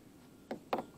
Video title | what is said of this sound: Inspection Part 2 (ORCA Rebuild Ep. 3) | it's sprung it's a little bit sprung out right there